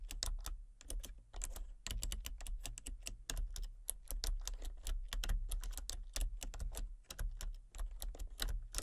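Fingertips and long painted nails type rapidly on a full-size backlit plastic RGB computer keyboard with hollow key switches and colour-cycling lights. Quick, bright, clacky key taps patter in uneven bursts over a steady low hum, each tap dying away almost at once.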